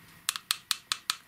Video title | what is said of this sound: Mod To Fix S**t Night Light Bulb. (Patreon EA Vid) | listen to that it sounds like plastic it is glass